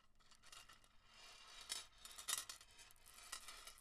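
Long acrylic nails rub and scratch through a small strand of solid, faceted green glass beads held over a marble table, while the hands gently shake the strand and rings on the fingers may clink. The sound is a quiet, bright, high-pitched rustle of tiny glassy clicks and scrapes, with a few sharper clinks standing out.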